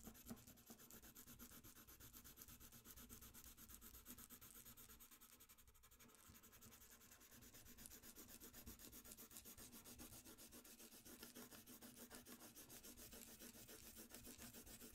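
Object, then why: Colored pencil on paper sheet. A dark wooden colored pencil held in the fingers is rubbed and scratched across a thin sheet of drawing paper, a coloring page, on a white desk in steady shading strokes. A quick, fairly even stream of soft, papery scratches runs throughout with bright hiss, easing slightly quieter around the middle before picking back up.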